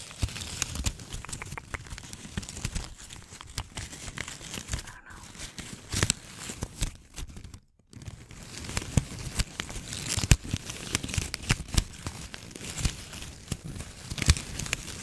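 A small red and white gift bow made of plastic ribbon with hollow loops is held in both hands and scratched and crumpled with long nails. Dense, continuous crinkling and crackling fills the clip, with sharp bright snaps over a low rustle. The sound drops out briefly near the middle before resuming.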